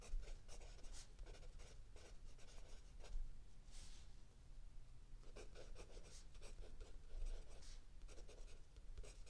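A mechanical pencil writes by hand on lined paper in a spiral notebook, with the other hand resting on an open paperback. Soft graphite scratching comes in quick bursts of bright, papery strokes, broken by brief pauses, over a constant low rumble at a quiet level.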